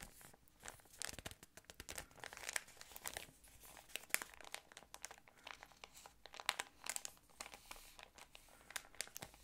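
A yellow patterned thin plastic ice cream wrapper is crinkled with fingertips. Dense, crisp crackles and snaps come in quick, uneven bursts, bright and quiet, with almost no low end and each pop dying away at once.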